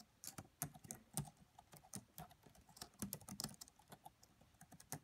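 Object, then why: Plastic laptop keyboard. Long manicured nails and fingertips of both hands type rapidly on the black plastic chiclet keys of a red laptop with a hollow body. About 21 quiet, short clicks are heard, each with a soft low thud near 200 Hz and a bright plastic tick that dies away almost at once, in an uneven, pattering rhythm.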